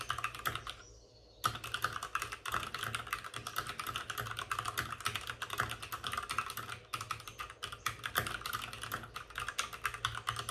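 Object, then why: Plastic mechanical keyboard. Both hands type rapidly with short-nailed fingertips on a white full-size plastic mechanical keyboard with plastic keycaps and RGB backlighting, resting on a desk with a padded wrist rest. Dense, crisp plastic clacks run almost continuously, with a brief quiet pause near the start. Each click is short and dry, with a bright tapping tone centred around 1.2 kHz.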